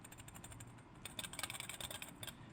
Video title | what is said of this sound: Sigma 17-50mm F2.8 EX DC OS HSM Hands-on Review | when you shake the lens around it does make a rattling noise